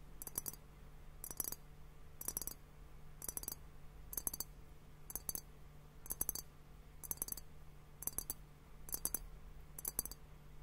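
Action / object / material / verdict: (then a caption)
tap / glass liquid-filled hourglass timer / glass / none. A fingertip and nail tap on both bulbs of a clear glass hourglass liquid timer, hollow and partly filled with liquid and bubbles. Eleven evenly spaced bursts of quick double taps give bright, glassy clicks that die away almost instantly, over a steady low hum.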